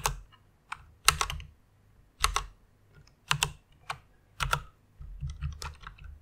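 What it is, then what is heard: Plastic mechanical keyboard being typed on. Fingertips and long nails type and tap on the plastic keycaps of a full-size white mechanical keyboard with Cherry MX red switches. Short, bright clacks come in irregular bursts, each with a faint low thud beneath, and the clicks die away almost instantly.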